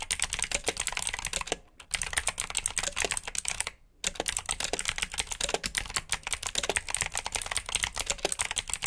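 Fingertips type continuously on a black plastic backlit mechanical keyboard with blue switches. The keystrokes are rapid, bright and clicky, with short dry snaps that stop dead. Typing runs steadily except for two brief pauses near 1.7 and 3.9 seconds.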